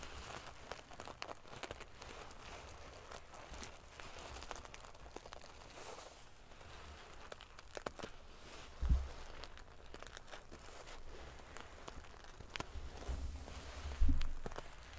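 Fingernails scratch and ruffle the metal pieces of a silver metal paillette, sequin-covered pillow, making a steady, crinkly, prickly rustle with faint bright clicks. Two louder, low bumps stand out near the 9 and 14 second marks.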